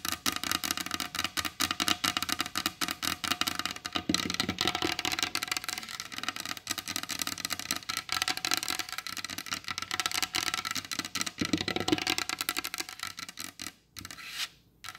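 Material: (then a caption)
Wood. Long blue acrylic nails tap quickly on the glossy varnished top of a large solid wooden dining table, with both hands resting on the surface. The result is a dense, steady stream of dry, bright clicks that die away almost instantly, with little low end. Near the end the tapping thins out and drops to a brief quiet spot before a last soft burst.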